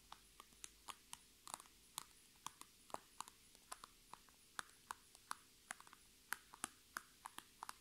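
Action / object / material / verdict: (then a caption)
tap / PVC plastic makeup bag / PVC plastic / none. Long red nails tap and scratch the crinkly sides of a filled, upright iridescent holographic PVC Sephora makeup bag. About 27 quiet, sharp, bright ticks and crinkles come at an unhurried, uneven pace, each dying away almost at once over a faint steady hum.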